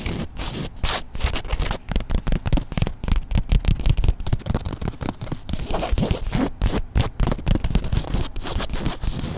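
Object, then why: Woven fabric cushion. Long black nails scratch rapidly back and forth across the textured surface of a soft, padded grey woven polyester fabric cushion or bag. The result is a steady run of short, dry scratching strokes with a dull, low-heavy rasp and brief crackling edges.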